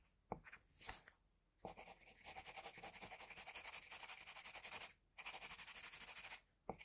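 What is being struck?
Graphite pencil on a paper drawing sheet.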